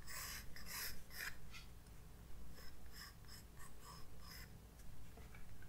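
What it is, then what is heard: Pencil sketching on paper. A graphite pencil makes short sketching strokes on a white paper page of a spiral-bound sketchbook resting on a desk. Quiet, scratchy bursts of bright rasping come and go over a steady low hum.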